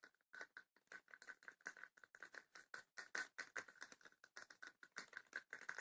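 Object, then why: Small wooden chest with woven rattan panels. Long nails tap quickly on the lid and sides of a small, closed, hollow wooden chest with woven rattan panels. About 34 short, dry clicks come in an uneven, rapid patter, each with a hollow tone near 1.5 kHz and a faint bright edge. The taps die away almost instantly, with no low thump.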